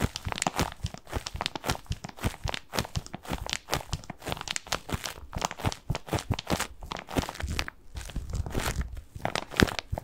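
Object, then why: Padded bath pillow with plastic mesh cover. A medium-sized, soft padded white bath tub pillow covered in textured plastic mesh is held in both hands and scratched and squeezed with fingertips close to the microphone. The result is a continuous run of dense, dry crinkling and crunching scratches with short, quick bursts and no ringing.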